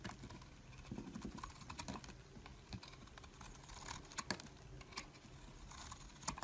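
A metal utility blade shaves flakes off a solid, rectangular, mint-green bar of soap held in the hand. The result is a quiet run of crisp, dry scraping and crackling ticks with bright, sharp edges over a soft low rumble, a few cuts snapping slightly louder than the rest.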